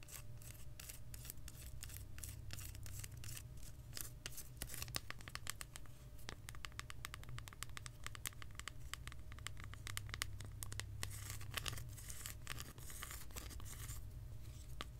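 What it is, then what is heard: Milk chocolate bar. A solid, segmented milk chocolate bar is held upright in both hands and tapped and scratched with long acrylic nails. The result is a continuous run of fast, crisp, clicky taps and scratchy strokes over a steady low hum.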